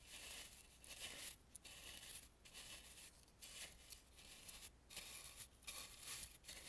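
A large dry bristle brush is swept around the eyes on the front of a hollow, face-sized Balinese painted carved wooden mask. The strokes make a bright, scratchy, hissing rustle that repeats in uneven passes with brief quiet gaps between them.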